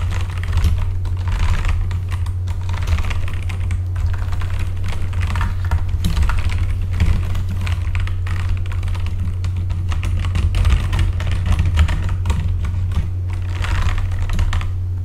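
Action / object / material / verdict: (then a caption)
tap / mechanical computer keyboard with plastic keycaps / plastic / none. Both hands type with their fingertips on a full-size backlit mechanical computer keyboard with plastic keycaps. A steady, continuous stream of quick, short clacks lasts throughout, with a constant low hum underneath.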